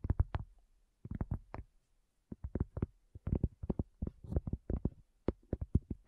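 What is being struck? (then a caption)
Cork coaster. A round, flat, solid cork coaster is tapped with long fingernails and fingertips in quick irregular bursts of about 25 soft, dull, low thuds. Each tap dies away almost at once, with brief quiet pauses between the clusters.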